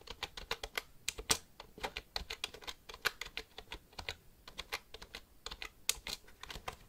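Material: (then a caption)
Plastic. Fingertips type on the keys of a black plastic computer keyboard held upright. About 34 quick, bright, dry clicks come in an uneven stream, each dying away almost at once with very little low end. A few strokes land noticeably harder than the rest.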